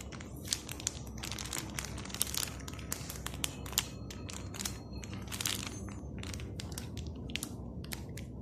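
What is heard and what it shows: A hand-sized sealed plastic packet of Morrisons triple chocolate cookie mix, full of dry mix, is held in both hands and turned, squeezed and rubbed with the fingertips. The result is continuous, bright crinkling and crackling with many short, sharp snaps over a steady low rustle.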